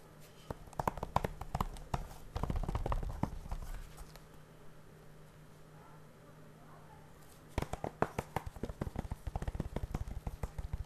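Fingertips poking out of fingerless gloves tap and scratch the front cover of a flat, hollow, blue plastic Blu-ray case still sealed in cellophane, which lies on a wooden board and is then lifted. Quick, dry clicking taps give way to a rough rustling scratch and then a quiet pause of a few seconds. A fresh burst of rapid, sharp taps follows.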